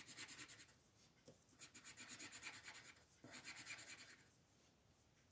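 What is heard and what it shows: A green colored pencil makes fast rubbing and scratching strokes along the outer petals of a printed mandala on a flat white paper coloring page. Quiet, bright, scratchy hiss comes in three bursts of rapid back-and-forth strokes, separated by brief near-silent pauses.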